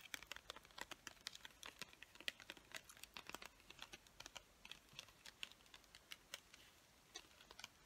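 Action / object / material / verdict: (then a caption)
tap / plastic packaging holding colored pencils / plastic / none. Long nails rapidly tap and scratch the surface of a hand-sized clear plastic package full of colored pencils. The result is a quick, quiet string of sharp, bright clicks and crinkly scrapes with almost no low end and no ring after each hit.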